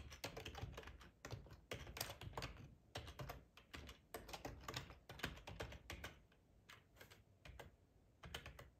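Fingertips with short nails type on a hollow black plastic ergonomic split keyboard resting on a plaid tablecloth. Quick bursts of bright, clacky keystrokes with a low hollow thump come in uneven runs separated by short pauses. Each click dies away almost at once.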